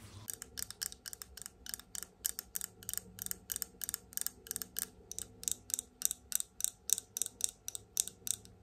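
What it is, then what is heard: Glass cosmetic bottle with plastic cap. Long almond-shaped nails tap the black-and-gold plastic cap and glass body of a tall glass bottle of liquid foundation held upright in one hand. There are 35 quick, sharp clicks in a fast, steady rhythm, each dying away almost instantly. The taps are thin and bright, with almost no low end beneath a faint background hum.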